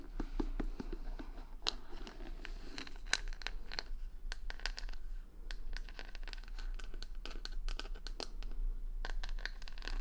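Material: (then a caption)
Plastic. Long nails scratch across the plastic rhinestone stickers covering the back of a wooden paddle hair brush held close to the mic. The result is a steady run of crisp, bright scratching ticks and gritty crinkly rasps over a constant low hum.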